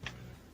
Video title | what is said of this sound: Mitsubishi Pajero sport Dakar 2.5 Diesel (2013) Review Indonesia | kalau gua ketok tuh itu besi beneran